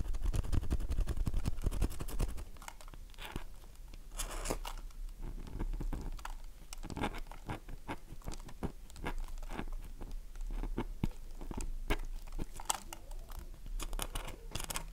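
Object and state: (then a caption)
Dry bar of soap being scratched. Long manicured nails scratch a dry, solid, oval, light-blue Dove soap bar, hand-sized and held in the palm, flaking off shavings. The sound is a quick, irregular run of crisp, crunchy scrapes with bright, sharp edges over a steady low hum, loudest in the first two seconds and then softer.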